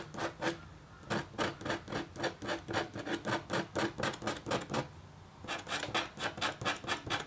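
A metal-tipped stylus scratches a thin, solid, flat black-coated copper foil scratch art board in quick, steady back-and-forth strokes. Each stroke makes a short, bright, dry rasp, about two per second, with a brief pause before the scratching resumes.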